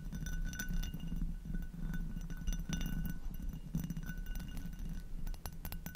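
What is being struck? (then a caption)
Textured glass goblet. An inverted, hollow and empty amber hobnail glass goblet is tapped on its foot with long nails, then tapped and scratched across its textured bowl. Quick, light glassy clinks with short bright rings sit over a steady low rumble, joined by soft scratching.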